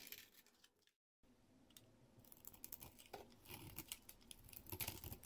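A solid, hand-sized green speckled Palmolive bar soap is scraped with a blade into thin curls and powder. Soft, dry scraping and crumbly crackles are heard, with a brief silent gap near the one-second mark before the scraping grows busier and brighter toward the end.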